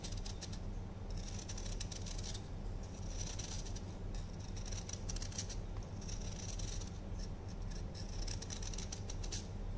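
A solid orange block of dried baking soda, held in the hand, is repeatedly shaved with a patterned knife blade. Dense, crunchy scraping comes in bright, crackly bursts over a steady low hum.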